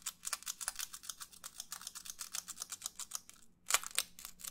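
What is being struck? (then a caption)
Disposable paper plate. Fingernails rapidly tap and scratch the lower rim of a white, textured disposable paper plate. The result is a quick run of crisp, dry, bright clicks with almost no ring or low end, much like typing. A short pause near the end is followed by a few louder taps.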